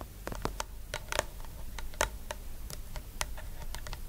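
Long nude nails tap and scratch the top and sides of a medium round plastic jar with a pale green body and a white lid with embossed lettering, lying on its side on a purple blanket. A quick, irregular run of short, dry clicking taps, some louder and brighter than others, is interwoven with soft scratching over a faint low rumble.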